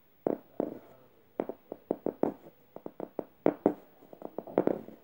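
Red-painted fingernails scratch the soft plush fabric surface and felt tongue of a medium yellow stuffed emoji cushion. About twenty short, dry, mid-range scratching strokes come in quick uneven bursts, some harsher and louder, others gentle. Each stroke dies away almost at once.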